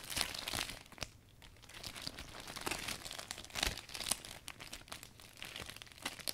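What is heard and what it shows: Hands gather and squeeze the loose canopy of a folded, new clear vinyl umbrella while wiping it down. The result is dense, bright crinkling and crackling plastic in quick bursts, with a brief quieter lull near the start.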